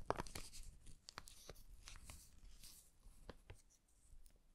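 An empty brown kraft paper bag with handles is held in both hands while fingertips scratch and rub the paper and its handle. Quiet, dry crinkles and scratchy rustles sound close up, with brief bright ticks standing out now and then over a soft low rumble.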